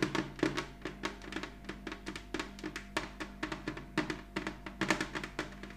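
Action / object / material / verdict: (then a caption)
tap / glazed ceramic heart ornament / ceramic / none. Long nails of both hands tap a large glossy red ceramic heart-shaped ornament lying flat on a cloth-covered table. About thirty quick, uneven taps sound as bright, clicky knocks that die away almost instantly. A faint steady low hum runs underneath.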